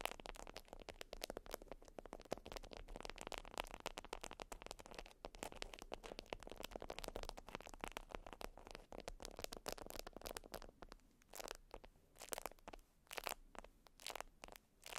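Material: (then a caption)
Waxed cotton. A flat, folded beeswax wrap of wax-coated cotton is scratched with nail tips. The result is a dense run of crunchy, crackling wax-texture scratches across a broad, bright band. Near the end it thins into separate short scratches with quiet gaps between them.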